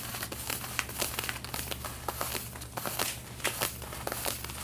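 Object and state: Denim jeans being scratched.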